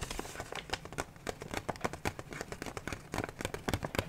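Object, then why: Kraft paper gift bag. A medium kraft paper gift bag printed with red hearts is held up hollow in both hands and tapped and scratched with fingertips and nails. A quick, irregular run of short, dry papery taps and bright crinkly scratches comes over a soft rustle. Each tap dies away almost at once.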